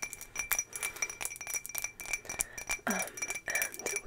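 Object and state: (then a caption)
Ribbed glass jar, empty. An empty, hollow ribbed green glass jar, held in the hand, is tapped and scratched with long fingernails in a quick run of light, bright clinks. Thin high ringing tones hang behind the taps. Near the end, two louder, broader scratchy rubs stand out.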